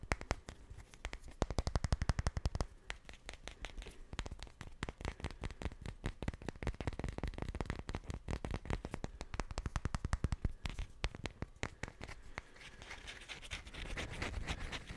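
Two solid, light wooden cubes are rubbed and scratched together right in front of the mic. The result is a rapid, dense stream of dry clicks and knocks with a deep, close thump. Toward the end it shifts into a softer, brighter scraping.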